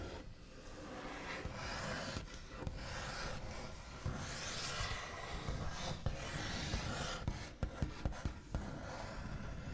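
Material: Wood.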